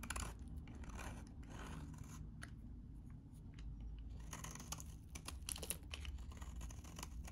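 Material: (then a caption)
Soap. A utility knife blade shaves crumbly chips off a solid, hand-sized, very dry vintage green soap bar. Crisp scraping crunches and short bright crackles come in irregular bursts over a steady low rumble, thinning out briefly in the middle before growing denser and sharper toward the end.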